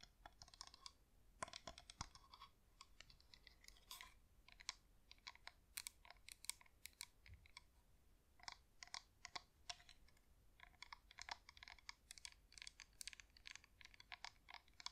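Long acrylic nails tap the top rim and sides of a cream wax pillar LED flameless candle with a hollow dipped top, held in both hands. The result is a quiet, steady stream of dense, dry, bright clicks that stop dead, with no ring, over a faint low background hiss.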